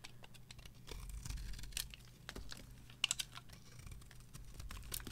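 A metal knife carves thin slices and shavings off a solid, dry, varnished green bar of soap held in the hand. Quiet, crisp scraping and brittle little cracks come in quick, uneven bursts over a low steady hum, with a few sharper snaps standing out around the middle.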